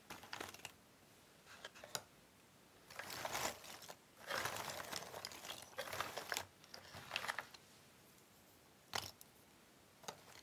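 A pile of cardboard jigsaw puzzle pieces in a box is stirred and pressed with fingertips and nails. Bursts of dry, bright crunching and rustling alternate with quiet pauses, ending with a few short clicks.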